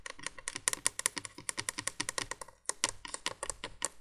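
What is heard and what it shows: Long nails tap and scratch rapidly on the hollow plastic base of a 1980s window candolier light. The result is a dense run of crisp, bright clicks and scrapes with almost no ring, pausing briefly near the middle before continuing.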